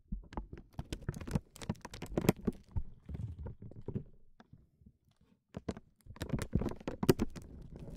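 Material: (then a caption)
Acrylic plastic. A small, solid, round, iridescent clear acrylic bead lying on a felt mat is tapped and rolled with short natural fingernails and fingertips. About twenty quick, soft, dull clicks and taps come in busy clusters, with a near-silent pause just before the middle of the clip before the tapping resumes. Each tap dies away almost instantly, leaving a muffled, low-heavy texture with little brightness.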